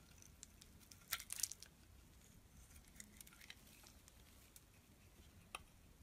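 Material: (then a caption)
Soap. A small black-and-white striped bar of soap, held in the hand, is shaved and scraped with a utility knife blade, sending crumbly flakes into a growing pile of shavings. Quiet, bright scratchy scrapes and crisp crumbling ticks come in irregular bursts, with a louder cluster near the start and a sharp tick near the end.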